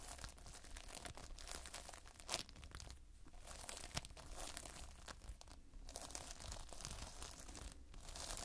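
Fingers squeeze and lift a lump of multicolored Playfoam, foam beads held in a sticky binder. The result is a continuous dense crackling and crunching, with tearing, crinkly bursts spread across a bright high range, over a steady low rumble and several sharper snaps.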